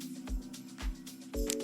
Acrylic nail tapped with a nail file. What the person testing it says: when you hear that clicking sound that means that it is um dry all the way through